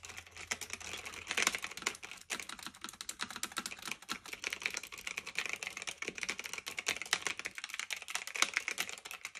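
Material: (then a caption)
Plastic and metal. Both hands type continuously with their fingertips on a black retro typewriter-style mechanical keyboard of plastic and metal with round keycaps, resting on a fluffy blanket. It makes a steady, rapid stream of bright, crisp clicks and clacks, each one short and dry with almost no low end.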